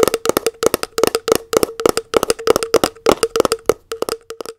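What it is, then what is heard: Plastic tub tapped with nails. Long nails tap rapidly on the lid and rim of a round plastic body butter tub held lid-up. The clip is full of quick, dry, clicky taps with a hollow tone near 420 Hz. Each tap dies away almost at once.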